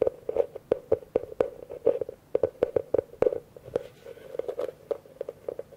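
A hollow, empty blue plastic bucket held in one hand is tapped quickly with a fingertip and nail on its outside and rim. Each tap gives a sharp click over a hollow resonance around 500 Hz that dies away almost at once. The taps come in an irregular, fast run with short pauses between them.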